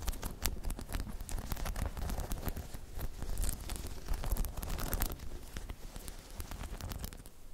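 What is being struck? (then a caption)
Spiky rubber balance pod. Long chrome nails scratch over a hollow, dome-shaped spiky rubber balance pod, making a dense run of dry scratches and quick crackling ticks. Under the scratching sits a steady low rumble, with brief bright clicks cutting through, and the level holds fairly even to the end.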